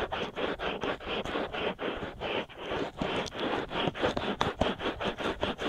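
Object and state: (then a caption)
Silicone ear scratched. Fingertips and short nails scratch steadily around the outer ears and ear canals of white silicone ear molds on a binaural microphone, in dense, repeated strokes. Each stroke is a close, dry, scratchy rasp, mostly in the mids with little deep bass, arriving in an uneven rhythm of roughly two strokes per second.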